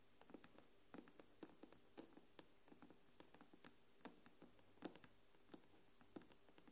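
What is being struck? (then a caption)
Aluminium back of a tablet. Long nails tap the silver aluminium back of an iPad tablet, giving about nineteen quick, irregular clicking taps with a short, dull ring around 320 Hz and bright edges. A steady low hum sits underneath.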